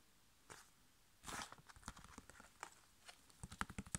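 A flat, sealed, foil-laminated plastic sachet holding a sheet face mask is tapped with fingertips and nails, then turned edge-on and crinkled. Quiet, sharp, dry clicks and taps mix with brief crackly, papery crinkle bursts that reach into bright highs. The sounds die away almost instantly, with the taps growing denser and crisper toward the end.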